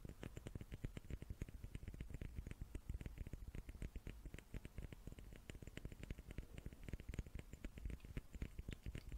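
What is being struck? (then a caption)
Small wooden cubes. Small wooden cubes are tapped with the fingertips in a quick, continuous patter. The taps are soft, dull and low, each dying away almost at once, with a few brighter clicks on top.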